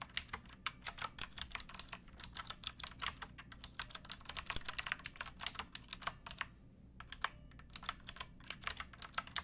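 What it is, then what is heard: Plastic mechanical keyboard. Fingertips with long nails type on a pink backlit mechanical keyboard with plastic keycaps resting on a wooden block. A steady stream of short, bright, crisp clicks, light on low end, runs throughout, with a brief pause before the typing resumes.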